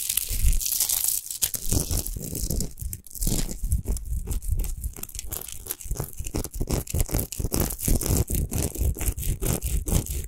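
Long nails scratch fast across a tall, rough-textured, unlit Himalayan rock salt lamp of solid natural salt. The result is a steady run of quick, gritty scrapes and rustles, each with a low thud and bright crackle, with no pauses.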